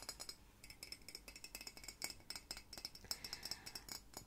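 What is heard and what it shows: A hollow, apparently empty white ceramic mug shaped like Hedwig the owl is held in one hand and tapped and scratched with long painted nails. The result is a quick, irregular series of light, bright clinks with a high ringing tone that dies away almost at once, mixed with soft scratching, all at a quiet level.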